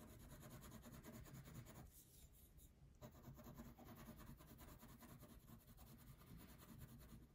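A purple wax crayon fills in a thin paper coloring sheet resting on a table, making steady, repeated rubbing strokes. The dense, soft scratching is mostly low and muffled, dips briefly quieter partway through, then resumes with the same continuous rasp.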